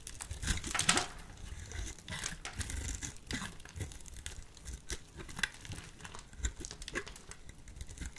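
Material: Soap.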